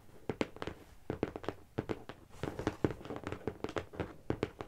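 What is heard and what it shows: Long nails and fingertips of both hands tap on the top and edges of a medium, closed, hollow brown corrugated cardboard shipping box. Quick clusters of short, dry taps give a hollow, mid-pitched knock with sharp clicky attacks. Each tap dies away almost instantly.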